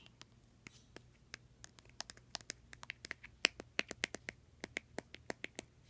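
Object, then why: Small plastic skincare bottle. A small white plastic skincare bottle with a printed label and a white plastic cap, hollow and apparently filled, is held in the hand and tapped and scratched with long dark red nails. About 22 quiet, sharp, bright clicks land at an uneven pace, each dying away almost instantly, with faint scratching between them over a low, steady background hum.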